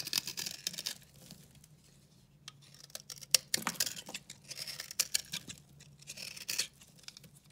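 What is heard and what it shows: A metal utility-knife blade with a red handle shaves and scrapes a hand-held oval bar of dry, solid, pink-red soap with a textured surface. The result is bright, dry, crackly scraping bursts with sharp clicks, broken by short quiet pauses.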